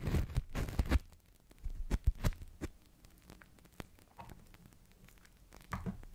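A large, hollow, air-filled toy bubble of thin blue plastic film (Crystal Ball) is held over the mic and crinkled, pressed and tapped with fingertips and long nails. A dense burst of low, muffled crinkling and thumping opens the clip, followed by scattered soft taps and brief crackles, with louder flurries around the two-second mark and near the end. The sound stays mostly deep and dull, with only faint bright edges on some taps.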